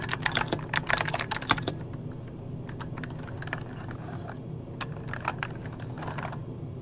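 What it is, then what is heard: Plastic mechanical keyboard being typed on. Fingertips of both hands type on an RGB-backlit mechanical keyboard with plastic keycaps. A fast burst of bright, sharp key clicks in the first two seconds gives way to sparser, quieter keystrokes over a steady low hum.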